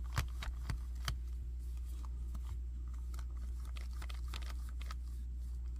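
Fingers tap and scratch the chest of a hand-sized, hard red and black plastic robot or monster action figure with tubes, and move its limbs. This makes sharp, bright clicks, a few louder taps early on and then a run of lighter scratchy ticks. A steady low hum sits underneath throughout.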